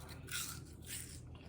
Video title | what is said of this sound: Farm to Chef Jr. -making kale chips | you can kind of hear that sound very very crisp sounding kale chips